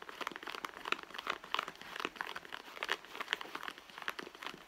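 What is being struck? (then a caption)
Leather handbag. Long blue nails scratch the stitched leather front and pocket of a hollow, medium red leather handbag lying on a mat. The sound is a quiet, steady run of quick, dry scratching and crinkling strokes, bright and papery with no low rumble and almost no ring after each stroke.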